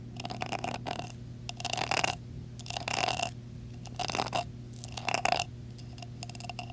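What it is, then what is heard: Metal jar lid with rhinestones. Fingertips and nails tap and scratch the top of a metal screw lid on a glass jar decorated with blue rhinestones. Short bursts of bright, gritty scratching and clicking repeat about once a second, each carrying a faint ringing tone. A steady low hum continues underneath.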